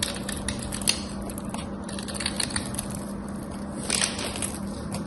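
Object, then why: Coated bar soap shaved with a metal blade. A solid cream bar soap with a gold painted coating, held in both hands with long white nails, is scraped and shaved with a metal craft knife, and crumbly flakes come off. Steady, dry, crackly scraping fills the clip, with sharper, brighter rasps near the 1-second and 4-second marks over a faint low steady hum.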